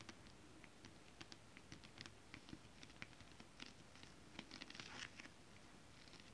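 Fingernails tap and scratch a flat sheet of shiny holographic mermaid scale-printed fabric, then flat hands rub across it. Quiet, crisp clicks and brief bright scratches are scattered over a soft low hiss. Toward the end the sound thickens into a denser, rustling rub before fading back to light ticks.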